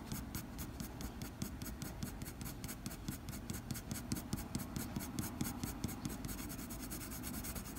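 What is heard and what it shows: The graphite tip of a blue mechanical pencil scratches across a flat white drawing paper sheet in short, quick fur strokes. The result is a fast, steady run of dry, bright scratches, about two strokes per second, over a soft low background rumble.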